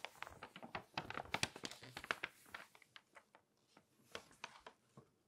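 Long nails scratch and rub across the page of an open glossy paper magazine lying flat, and a page is turned. Quick, bright, crinkly scrapes and taps come densely at first, then thin out into sparser, softer strokes.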